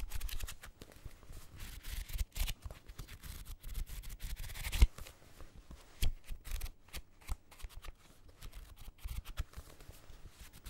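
Fingertips and nails scratch and riffle along the page edges and cover of a small paperback copy of Casino Royale, a solid paper block. The result is a quiet, dense stream of rapid, dry papery flutters that sounds like shuffling cards, with a sharper snap just before the 5-second mark.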